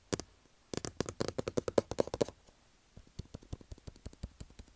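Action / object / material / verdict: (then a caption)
tap / small cardboard box / cardboard / none. Fingertips and nails tap and scratch the top and front of a small, hollow white cardboard iPhone box standing on a table. A single tap is followed by a quick, dense run of hollow, mid-pitched knocks with bright nail clicks, then a short pause and a sparser string of softer taps. Each tap is dry and short, with almost no ring.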